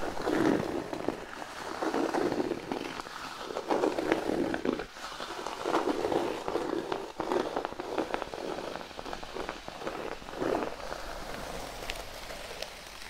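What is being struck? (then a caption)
Thin cork sheet. A large, flat, thin cork sheet resting on a blanket is scratched with the fingernails of both hands. The result is a dry, continuous crackling scrape that sits mostly in the low-mid range and carries bright flecks. It swells and eases unevenly, then thins out near the end as the hands move away.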